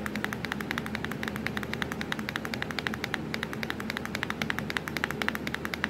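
Long pointed acrylic nails tap rapidly on the black plastic keys of a hollow laptop keyboard, producing a fast, steady stream of short, sharp clicks. A constant low hum sits underneath the tapping throughout.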